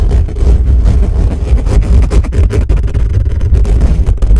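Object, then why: Metal mesh microphone grille. Fingertips of both hands rapidly scratch and rub the bare metal mesh grille on the hollow head of a black condenser microphone. The result is a loud, continuous, boomy rumble of dense scraping, concentrated in deep low frequencies around 59 Hz with almost no high content.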